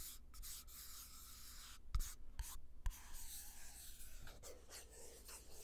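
A small, empty clear glass jar with a black lid is held in the hand, and fingertips and nails rub and tap across the glass and the lid. Soft, scratchy rubbing with a bright hiss runs throughout, broken by three sharp, short taps near the middle over a steady low hum.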